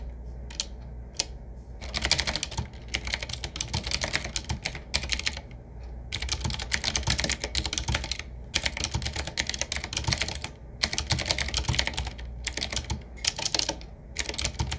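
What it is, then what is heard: Retro mechanical keyboard being typed on. Fingertips of both hands type on a 7Keys retro typewriter-style mechanical keyboard: medium size, hollow case, wood-finish frame, round black keycaps set in metal rings. Quick bursts of bright, crisp key clicks come in runs separated by short pauses. A steady low hum sits underneath throughout.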